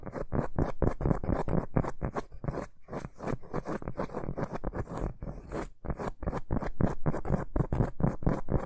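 Fingertips and short nails scratch and tap the textured surface of a large, round, flat, solid cork board or coaster held upright in both hands. The result is a quick, uneven series of dry, muffled scratchy bursts, heaviest in the low end with a faint bright hiss on top. The rhythm dips briefly near the middle and again before the six-second mark.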